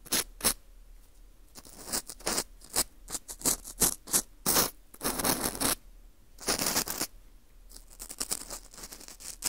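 A green plastic earpick scrapes inside the hole of a small, hollow ring of dry, porous baked wheat gluten (fu) held in a gloved hand. It makes crunchy, crumbling scrapes in short bright bursts of varying length, separated by quiet gaps.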